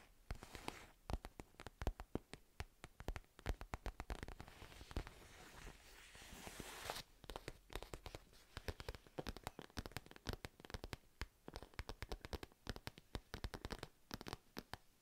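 Long painted nails scratch a medium purple padded fabric pencil case with a cartoon cat print, held up close to the mic. Quick, dry, crackly scratches tick along in dense bursts, with a smoother, continuous rubbing stretch in the middle. The sound stays quiet and weighted toward the low end, with each scratch cutting off almost instantly.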